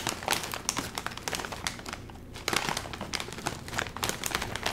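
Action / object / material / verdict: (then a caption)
scrape / metallized plastic film snack bag / plastic film / none. A full Doritos chip bag of metallized plastic film is handled, crinkled and squeezed by the fingers while lifted near the face. Dense, bright crackling and crinkling bursts come in quick succession, easing into a brief quieter lull just past the halfway point before the sharp crinkles pick up again.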